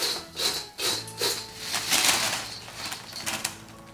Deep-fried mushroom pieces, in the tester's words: you can listen to this crisp sound It's all crispy